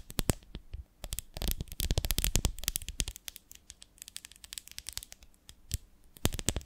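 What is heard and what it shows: Long nails tap and scratch along the ridges of a medium, ribbed, beehive-shaped glass jar with a lid, full of honey. Rapid, sharp clicks and scratchy bursts come in busy clusters separated by quieter pauses. Each click is bright and dies almost instantly, with a dull low thump underneath.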